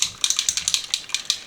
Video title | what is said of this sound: My FIRST ever Jackson's Haul! Sketchbooks, Paper, and Schmincke Watercolors! Unboxing + Swatches | it has a little ball, kind of like Posca pens, to kind of make sure all the paint gets mixed really good